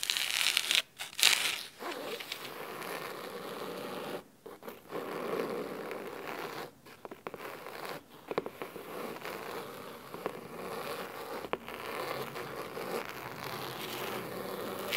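Fingernails scratch the spine and then the top cover of a thick, navy cloth-covered hardcover book resting on a wooden table. The result is a dry, bright, raspy scratching with a coarse fabric texture, broken by a few short pauses between strokes, and almost no low end.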